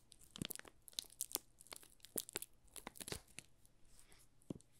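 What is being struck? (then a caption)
Soap bar wrapped in thin plastic film. A small solid bar of pink rose Marseille soap in thin clear plastic film is held in both hands while fingertips and short nails rub and scratch the film. The film gives off quiet, bright crinkles and crackles in quick irregular bursts with sharp snaps that die away at once.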